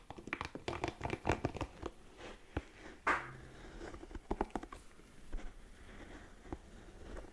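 A hand-sized red spiky ball of soft silicone or rubber is held in front of a microphone and tapped and scratched with long nails and fingertips. Quiet, close-up crackly scratching and clustered soft taps come with dull low thuds, the loudest tap landing about three seconds in. The taps die away almost instantly.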